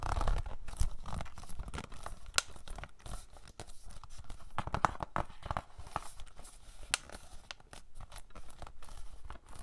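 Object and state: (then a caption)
Plastic DVD case. A hollow plastic DVD case of Napoleon Dynamite is held in both hands while fingernails tap and scratch across its front cover. Quick, dry clicks mix with crinkly scratching in an uneven, continuous patter, with short taps that stop almost at once.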